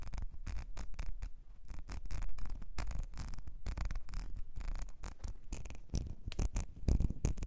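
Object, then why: Small ribbed glass perfume bottle. Long nails scratch the ridges and base of a small, ribbed, clear glass perfume bottle with a gold nozzle that is partly filled. The result is a steady run of quick, dry rasping scrapes, each cut short with almost no ring, and the sound sits mostly in a soft low rumble.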